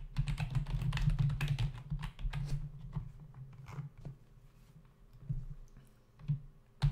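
Fingertips of both hands type on a black plastic membrane computer keyboard resting on a desk, its hollow body and plastic keys giving dull, low clacks. The taps come quickly and irregularly at first, thin out into quieter scattered presses, then end with a final louder burst.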